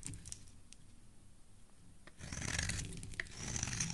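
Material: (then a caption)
Soap. A solid embossed teal soap bar with dark specks is shaved with a metal blade into thin curls. After about two seconds of quiet, low background rumble, a louder, bright, crinkly scraping rasp begins and continues in uneven strokes to the end.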